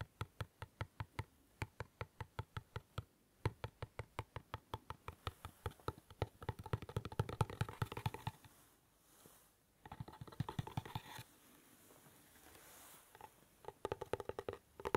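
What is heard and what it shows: A small, hollow, closed dark navy cardboard gift box is held beside an ear-level microphone and tapped rapidly with the fingertips and nails. The taps are dry, hollow knocks with a low thump and no ring. They start as an even, distinct patter and then blur into faster, denser tapping with light nail clicks, broken by a couple of short pauses.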